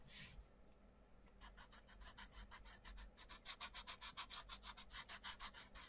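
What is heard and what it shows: A wooden coloured pencil shades the page of an open paperback colouring book with butterfly outlines, rubbing the paper in fast back-and-forth strokes while the other hand holds the page down. A short bright scratch is followed by a brief quiet pause. A rapid, fairly steady run of dry, hissy rasping strokes then builds slightly louder toward the end.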